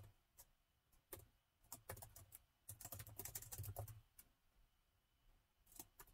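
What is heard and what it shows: Fingertips of both hands type on a plastic laptop keyboard, producing quick, bright, short clicking key taps that come in irregular bursts with brief pauses between them. Each tap decays almost instantly, and a low hum sits beneath the clicks.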